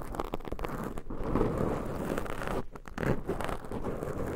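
Long pointed nails scratch two black foam microphone windscreens, making a dense, low, muffled scratching and crinkling rustle. The sound is steady with brief dips near one second and just before the three-second mark.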